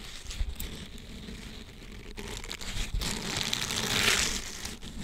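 A green flexible silicone scrubber sponge with bristles is folded over the microphone while fingers squeeze and rub the bristles. The result is a steady, bright, crinkling rustle with soft low thumps from handling, building to its loudest swell near the end.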